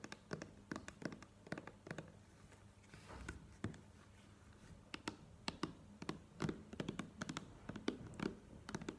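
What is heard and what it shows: Long nails tap on a plastic cream squeeze tube, first while it is held and then after it is laid on the table. The quiet, dry clicks come in quick irregular bursts with very short ring and a low-mid body around 250 Hz, broken by a brief softer rustling stretch around three seconds.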